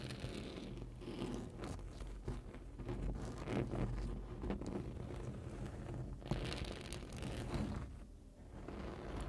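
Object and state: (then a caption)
Printed foam board sign. Long nails scratch along the top edge of a large printed rigid foam board sign, producing a steady, dense crunching and rustling scrape. The sound is mostly low and full-bodied with little brightness, briefly thinning near the end before resuming.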